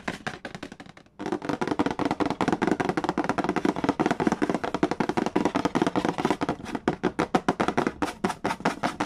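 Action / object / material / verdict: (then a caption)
tap / cardboard board game box / cardboard / none. Fingertips and nails tap fast and trace across the printed cardboard lid of a Mastermind board game box, a large, flat, hollow box resting on a wooden table. A rapid stream of short, hollow, mid-pitched taps with a papery scratch stops briefly after the first second, then continues steadily to the end.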